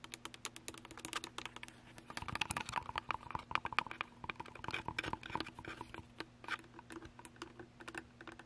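Long acrylic nails tap and scratch the top and sides of a hollow plastic Canon DSLR camera body with its lens attached, the camera sitting on a small tripod and seen in a mirror. Rapid, dry, clicky taps with bright scratchy edges follow one another in dense bursts and die away instantly, over a faint steady low hum.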